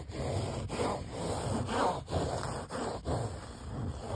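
Fingernails scratch and rub grey mesh car seat fabric with a stitched seam band on a padded seat. Soft, rough, papery scraping comes in repeated strokes separated by brief pauses, mostly low and muffled with very little bright content.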